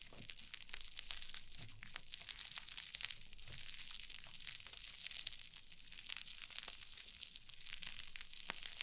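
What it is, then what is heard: Cloud slime. A mound of white cloud slime on a wooden table is pinched, pressed and scratched with long nails. It gives off a steady, soft stream of dense, bright crinkling and crackling, with many tiny sharp pops and faint low thuds from the presses.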